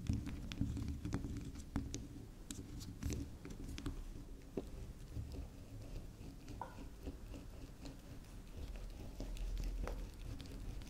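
Long nails scratch and tap the spiral top of a round, unwrapped pink swirl bar of soft soap, making soft, low, dull patters and scratchy rustles. The quick taps die out almost at once and repeat unevenly over a steady low murmur, with brief bright clicks scattered throughout.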